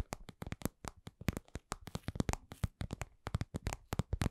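Long nails tap a medium-sized, soft, hollow cosmetic pouch of glossy red patent vinyl shaped like lips. A quick, uneven run of short, dull taps sounds, each with a low, hollow body and a faint bright click at the top. Every tap dies away almost at once.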